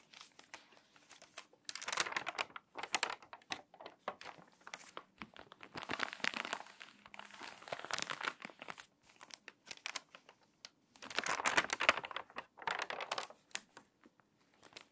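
Long white nails scratch and rub the wrinkled, water-damaged pages of a glossy paper magazine lying open flat on a table, and turn them. Dense, bright crinkling and crackling comes in bursts, with quieter scratchy rubbing between.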